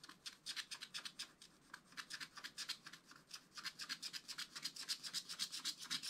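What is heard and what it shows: A wooden stylus scratches and rubs across a flat, black wax-coated scratch-art paper page in a spiral book. Quick, dry scratching strokes repeat at about four per second, each a short bright, hissy burst with almost no low end. The strokes grow slightly louder toward the end.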